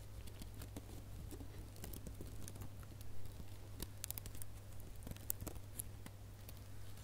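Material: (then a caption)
Plastic. Fingernails scratch and pinch the loops of a small red metallic plastic ribbon gift bow held close up. Quiet crinkly scratches and quick, bright ticks scatter over a steady low hum.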